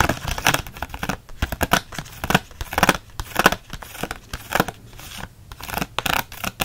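Fingernails scratch fast across the hard clear plastic bubble of a card-backed blister pack holding six Micron pens. The result is a rapid run of dry, hissy scratching bursts, each one short with no ring, and the loudness rises and falls unevenly throughout.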